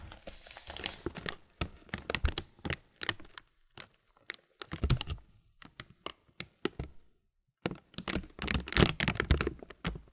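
Fingertips rub and crinkle the empty top film of a clear plastic bag full of granola, producing bursts of dry, bright crackling and sharp snaps. The crinkling comes in irregular clusters separated by short pauses, with a brief silence near the end before a final dense flurry.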